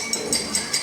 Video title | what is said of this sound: How to make a Guitar from a Piano - Danny Mooney - 15/11/23 | tap on your glass and hear that high pitch sound